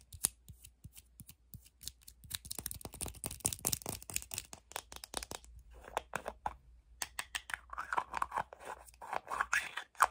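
Long painted nails quickly tap and scratch a small plastic deodorant stick tube with a white base and its label, held in both hands. Dense, rapid clicking taps mix with dry, crackly scratching, sharp and bright with almost no ring, and short bursts of faster scratching toward the end.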